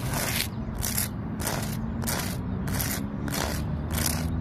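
Long nails and fingertips scratch and tap the rough bark of a large, solid tree trunk. They make a series of bright, rasping scrapes at an even rhythm. A steady low rumble continues underneath.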